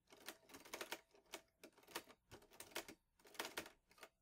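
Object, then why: Metal portable typewriter keys. Fingertips type steadily on the keys of a vintage teal metal Underwood Olivetti Lettera 22 portable typewriter with paper loaded. The result is a quick run of sharp, bright clacks with short, dry decays and a tone around 920 Hz, in uneven bursts separated by brief pauses.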